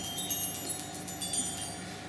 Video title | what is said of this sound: Bébé: Réponses FAQ grossesse | c'est une boule comme ça qui fait une musique